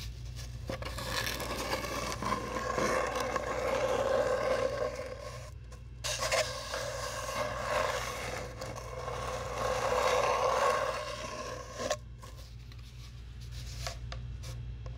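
A long, hollow brown cardboard tube is scraped and scratched with long nails. The result is a continuous rasping scrape with a hollow, resonant tone around 500 Hz and 1 kHz. It swells and fades in long strokes over a steady low hum and breaks off briefly near 6 and 12 seconds.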